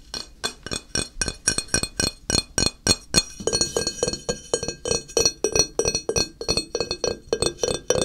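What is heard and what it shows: Fingernails tap and scratch the ridged, textured back of a small, solid ceramic tile held on edge by hand. The result is a rapid, uneven stream of bright, clicky taps with very short ring, with a denser stretch of raspy scratching mixed in through the middle.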